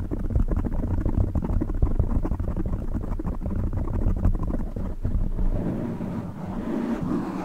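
Fingertips of both hands scratch and rub a black foam windscreen on a silver microphone, making a dense, muffled stream of low, boomy rustling and crackling scrapes. The sound is heavy in the bass with almost nothing high. Near the end the rubbing softens into a smoother, breathier rustle.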